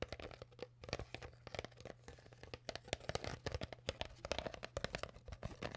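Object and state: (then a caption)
Plastic water bottle. Hands squeeze and crinkle an empty, partly crushed clear PET plastic water bottle with its cap on while long nails scratch its surface. A rapid series of sharp, dry crackles and crunches plays over a quieter scratchy rustle, with a steady low hum underneath.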